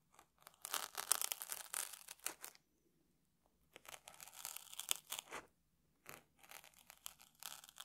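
A small metal tool scratches and picks at the surface of a dry, crunchy round puffed rice cake sitting on top of a stack in a red wrapper, held steady by one hand. Three bursts of bright, crackling scratches and crunching come with short silent gaps between them.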